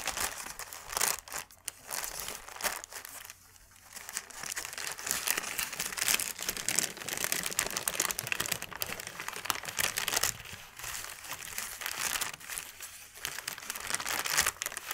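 A large, thin white paper sheet is held, flattened and rubbed with the fingers on a dark cloth. It gives a steady, bright crinkling and crackling that rises and falls in small bursts, with almost no low end. The papery rustle fills the whole clip without pause.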